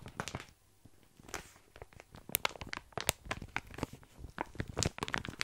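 A full plastic bag of tiny dry pasta is held close to the mic while fingers tap, scratch and rub its surface. The result is a stream of crisp, crinkly taps and rustles with bright crackling edges and soft low thumps, coming in uneven bursts with brief quiet gaps.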